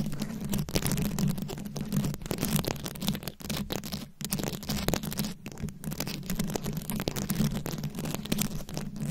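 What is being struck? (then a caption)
Microphone head covered in small plastic rhinestones, scratched with long nails. Very long acrylic nails scratch and tap a fist-sized microphone head fully covered in small round rhinestones, likely plastic, held up close. A dense, continuous scratchy rustle is broken by quick clicky taps over a steady low hum near 200 Hz.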